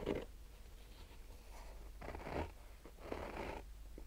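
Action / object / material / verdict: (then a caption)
scrape / fabric-covered hard-shell sunglasses case / nylon fabric / none. Short nails slowly scratch a fabric-covered hard-shell sunglasses case, its rigid hollow body wrapped in black textured nylon fabric. Three soft, raspy scratching strokes come through over a low, steady hum, each stroke a brief hollow rasp.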